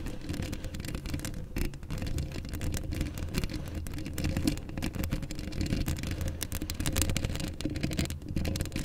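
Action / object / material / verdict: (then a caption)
scrape / steel wire-mesh microphone grille / steel mesh / none. Long acrylic nails of both hands scratch up close on the rounded, hollow steel wire-mesh grille of a black Blue Yeti-style USB microphone. A dense, continuous scratching fills the clip with a heavy low rumble and a steady tone near 290 Hz, and the texture never settles into separate hits.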